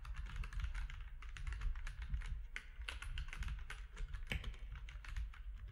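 Fingertips of both hands type steadily on a compact plastic mechanical keyboard with grey, white and orange keycaps. The result is a fast, continuous stream of short, bright clacks and clicks over a steady low hum.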